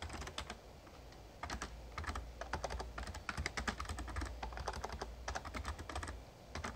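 Fingertips type on the keys of a Razer Ornata Chroma, a full-size backlit plastic mecha-membrane gaming keyboard. Quick, short-decaying clicks and clacks come in bursts over a steady low rumble, with a brief quieter pause near the start and another near the end.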